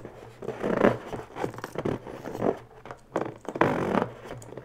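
Long bare nails rub and scratch the surface of a small, inflated, pink pearlescent latex balloon, hollow and air-filled, held in the hands. The result is a run of squeaky, rubbery scrapes and drags in uneven bursts, with a dry, close sound and little low end.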